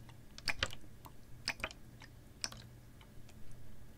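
A clear, ribbed, hollow PET plastic water bottle with a little water inside is held horizontally and tapped with long nails. The result is sharp, bright, short clicky taps, often in quick pairs, spaced irregularly over a steady low hum.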